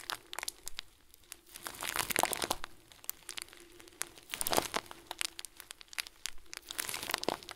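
Fingertips repeatedly squeeze the top of a round, hand-sized clear plastic bag full of small white plastic beads. The result is a steady run of soft, bright crinkles and crunches, with a few louder swells of dense rustling.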